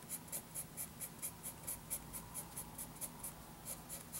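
A wooden graphite pencil makes short hatching scratches across a lined paper notebook page. A rapid, fairly steady series of bright, papery scratch bursts rises and falls over a faint low background hum.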